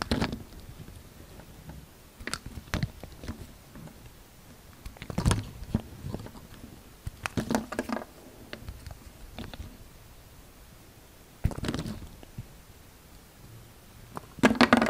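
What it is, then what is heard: Bar of soap being carved. A utility knife blade shaves curls from a solid light green bar of soap that is already partly carved, with a pile of shavings beside it. Soft, dry scraping strokes and crisp little cutting clicks come in scattered bursts over a quiet background, with louder shaves near the middle and a dense flurry at the end.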